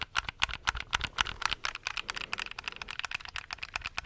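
Fingertips and nails tap and click the buttons of a handheld black plastic gamepad, making about 25 quick, dry, bright clicks at an uneven pace of roughly four per second. Each click stops short with no ring, over a faint low rumble.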